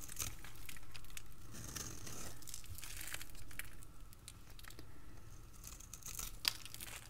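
A utility blade cuts and scrapes strips and cubes from a dry, crisp, solid rectangular bar of green soap held in the hand. Quiet, continuous dry scraping and crinkly, crumbly shaving sounds carry bright, crisp texture over a low background hum, with a sharper snap near the end.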